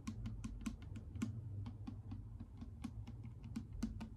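A clear plastic micellar water bottle with a pink cap, partly full of liquid, is tapped rapidly with long acrylic nail tips. The quick, irregular taps make short bright clicks, each with a faint hollow tone around 220 Hz, over a low steady rumble.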